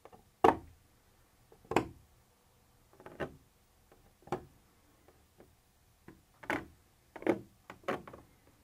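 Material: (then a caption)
Plastic. A black pointed pointer tool lightly taps a white textured plastic surface that appears to be the wall of a hollow container. The taps come as a series of quiet, short, dry ticks with a mid-pitched, hollow knock and a very quick decay. They are spaced irregularly, with some softer double taps between the louder ones.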